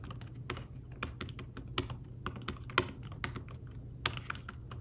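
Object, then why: Fabric-covered tablet keyboard. Fingertips with short nails type on an iPad Smart Keyboard-style folio keyboard, thin and flat, with dark woven fabric-covered keys. The result is a quick, irregular run of soft, muted taps with brief brighter clicks, each dying away almost instantly, over a steady low hum.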